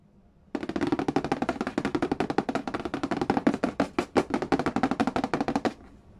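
Fingertips and nails rapidly tap, trace and scratch the glossy printed lid of a flat, hollow cardboard box for The Game of Life lying on a wooden floor. After a short silence, 32 quick, dry taps run for about five seconds, each a hollow, boxy knock with a brief crisp edge that dies away almost at once.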